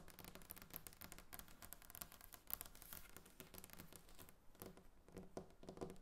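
Long nails tap rapidly on a large, solid, glossy varnished wooden tabletop. The result is a quiet, dense stream of crisp, dry clicks with bright edges that stop instantly.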